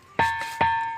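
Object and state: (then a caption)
Ringing granite boulder with a metallic tone. A granite boulder, the middle one in a group of rocks among fields, is struck three times and gives off a ringing metallic tone near 914 Hz, like a struck brass pot rather than ordinary stone. Each strike carries a sharp attack, and a steady ring persists between and after the hits.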